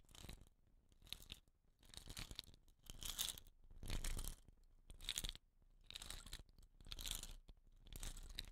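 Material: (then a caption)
Rattan. Long nails scratch the woven rattan wrapping at the end of a hollow wooden rain stick lying sideways. The result is a series of crisp, crunchy scraping bursts, about one per second, with a bright, high rasp over a soft low rumble and brief quiet gaps between strokes.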